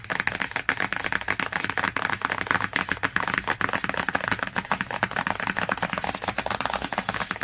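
Long nails tap and scratch quickly across the cover of a glossy cardboard hardcover book. The result is a fast, dense stream of dry clicks mixed with scratchy rasps, bright and midrange-focused with very little low end. Each tap dies away almost instantly.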